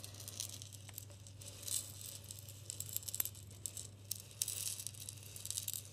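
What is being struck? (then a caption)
Glass jar partly filled with salt crystals. A medium glass jar with a white plastic lid and a green coconut-oil label, partly filled with pink salt crystals, is held in both hands near the ear and shaken so the salt rattles inside. The bright, gritty rattle comes in irregular bursts of crisp clicks over a steady low hum. The result is a quiet, close, crackling shaker sound.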